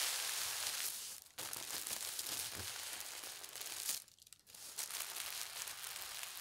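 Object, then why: Thin tissue paper sheet. Fingertips with long red nails slowly rub and smooth a thin, translucent polka dot tissue paper sheet lying flat on a table. The result is a steady, bright, crinkly rustle that drops away briefly twice as the touch lifts, then resumes.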